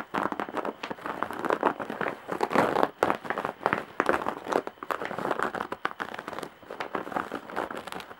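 Long nails scratch along the coarse weave on the side of a large woven straw or jute bag, up close. The result is a dense, dry crackling scrape made of rapid, tightly packed bursts centered in the midrange, with almost no low end. The bursts swell and fade in uneven waves throughout.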